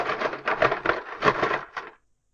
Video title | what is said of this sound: Mighty Mustang! Unboxing the Mistercraft P51-B Mustang in 1/72 Scale | you can hear that all the parts seem to be loose in the box